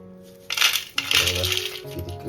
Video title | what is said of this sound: फणसाच्या हाट्यांचे लाडू आणि चिप्स | किती क्रिस्पी झालेत बघा कुरकुरीत आवाज येतोय